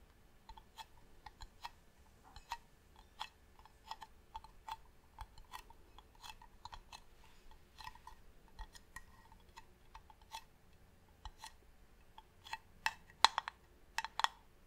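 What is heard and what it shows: Long nails tap on the side of a medium, hollow, varnished wooden box held upright. The quiet, crisp, short taps come at an uneven pace with a hollow woody tone and bright edges, and the last few taps near the end are noticeably louder.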